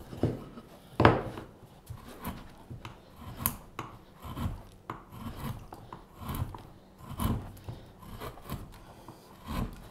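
A straight carving knife with a blue handle scrapes and carves the surface of a solid, light-coloured wooden spoon blank held against a table. Dry, rasping scrapes repeat in short bursts with a low, woody body and a soft, bright edge, each stroke fading out quickly. A louder, sharper cut stands out near the start.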